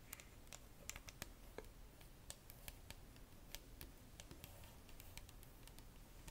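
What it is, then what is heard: Plastic bottle tapped with fingernails. Long nails tap the body and red cap of a clear plastic Bioderma micellar water bottle full of liquid. They make a quick, irregular run of short, bright plastic clicks that die away almost instantly. The clicks sit over a quiet, low background rumble.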